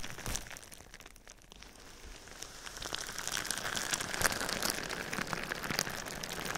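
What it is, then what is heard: Plastic bubble wrap. Clear plastic bubble wrap laid over a microphone is tapped and scratched quickly with fingertips and nails. The result is a dense, bright crinkling patter like rain on a surface, with sharp clicks scattered through it. It starts soft and grows louder from about the midpoint on.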